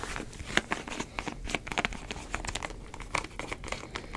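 Fingertips twist and rub the white plastic screw cap of a medium plastic drink bottle with a green label, apparently holding liquid. A quick run of sharp lid clicks mixes with bright crinkling, each sound dying away almost at once.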